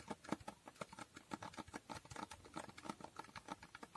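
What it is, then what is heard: Holographic cardboard box. Fingernails tap quickly across the faces of a small hollow cardboard box with a holographic foil finish. The result is a quiet, steady run of short, dry clicks, each with a hollow mid-toned knock that dies away almost instantly.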